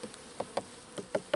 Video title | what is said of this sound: Saison 2 épisode 5 Triste nouvelle... et ouverture de fin d'hivers | ça sonne plat un peu partout